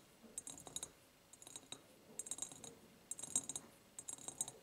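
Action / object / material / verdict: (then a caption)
tap / ribbed glass jar / glass / none. Long nails tap and scratch on the sides of an empty, medium, ribbed clear glass jar. Quiet bursts of quick, bright clicks come in irregular clusters with soft scraping between them, each tap carrying a brief high glassy ring that fades almost at once.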